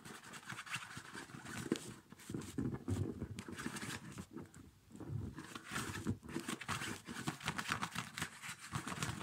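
Fingertips rub and scratch the padded, quilted nylon upper of a small, empty child's winter snow boot held in both hands, and a hand partly covers the boot at the end. The result is a steady, dense rustling and scratching with soft, muffled low thumps and a bright, airy hiss that briefly dips partway through before picking up again.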